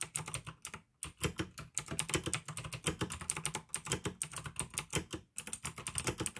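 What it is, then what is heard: Plastic mechanical keyboard being typed on. A full-size pink plastic AUKEY mechanical gaming keyboard with RGB backlight, clicky blue switches and a hollow case is typed on fast by fingertips on the keycaps. Rapid, sharp clicks with a bright top and a hollow low thump run in dense bursts, broken by brief pauses near one and five seconds.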